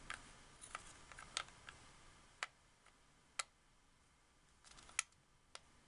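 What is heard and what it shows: Fingertips and long nails click and tap the buttons and thumbsticks of a hollow, white, hard-plastic wireless Xbox 360 controller. Nine quiet, sharp, bright plastic clicks ring out, each dying almost instantly, with almost no low end. A soft hiss fills the gaps between them.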